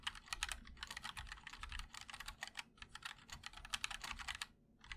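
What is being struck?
Mechanical keyboard, ABS plastic keycaps on an aluminium case.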